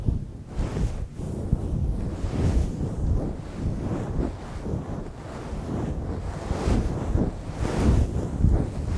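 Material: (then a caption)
Synthetic fur. Fingertips lightly scratch and stroke the top of a fluffy grey faux-fur windscreen on a microphone. The result is a continuous, muffled, rumbling rustle concentrated in the deep lows, with soft swells and almost no bright content.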